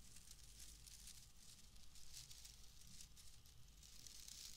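A loose, pale, palm-sized bundle of wood wool is squeezed, crumpled and rubbed by hand close to the microphone. It gives a steady, dry, crackling rustle with a bright, hissy top and a soft low rumble underneath, lasting the whole clip without a clear break.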